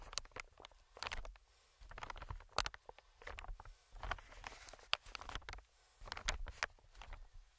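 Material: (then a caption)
Plastic film. Fingertips tap and scratch the surface of an inflated, medium-sized green plastic-film air cushion. Clusters of quick, dry taps and bright crinkly scratches come in three bursts separated by short quiet pauses, with soft low thumps underneath.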